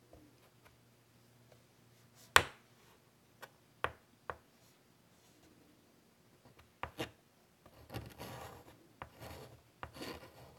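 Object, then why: Chalk stick on a wood-framed chalkboard. A white chalk stick rubs and scratches rasping lines across a large, flat, wood-framed chalkboard. Four sharp chalk taps stand out against a quiet background in the first half, followed by longer, bright, gritty scratching strokes toward the end.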